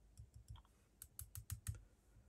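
A metal chassis plate from a RevoSlot Porsche 911 GT2 slot car, held by one corner on a block, is tapped ten times, giving quiet, short tinking clicks as it rocks slightly. The rocking shows the plate has a very slight curve, which calls for flexing it flat by hand.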